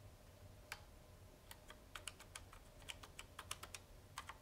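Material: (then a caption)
Plastic. A hollow red plastic wall-style push-button telephone base is held in one hand, lifted off the table, while a fingertip presses and taps its plastic keypad buttons; the handset lies on the table beside it. About seventeen short, dry, bright clicks sound in an uneven keyboard-like rhythm, each stopping almost instantly, over a faint low hum.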